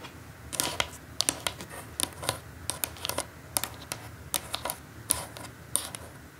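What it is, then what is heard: Cardboard gift box tapped with nails. Long acrylic nails tap on the lid of a flat, closed, brown printed cardboard perfume gift box lying on a table; the box seems hollow, with its contents inside. The taps come as an uneven run of sharp, bright, dry clicks that stop almost instantly, over a faint low hiss.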